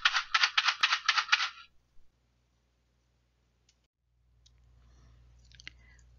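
A box containing wild rice is shaken to test a guess about what is inside a mystery gift box. About eight quick, bright rattling bursts are heard within the first second and a half, then the sound stops and only a faint low hum remains.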